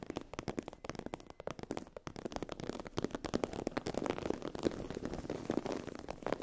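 Long acrylic nails scratch a sheet of iridescent holographic vinyl/PU faux-leather fabric with a raised scale texture, lying on a fluffy blanket. The result is a dense run of quick, dry crackling scratches and clicks that grow busier and slightly louder toward the end.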